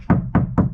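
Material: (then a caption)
Steel. Three knocks on a car's steel body panel covered with a sound-deadening mat produce dull, low thuds around 190 Hz that die away quickly. The deadening has damped the panel so it no longer rings.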